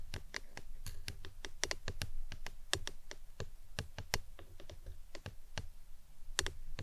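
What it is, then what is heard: Plastic tumbler cup. A hollow, empty-looking printed plastic lemonade tumbler cup, standing upside down on its green lid, is tapped with long acrylic nails. Rapid, uneven clicky taps with a bright, dry attack and almost no ring run over a low, steady hum.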